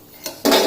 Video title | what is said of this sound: Nachos with salsa dip : Crunchy : Homemade : Rice flour : Tortilla chips | You can listen to the noise, how crispy these have come out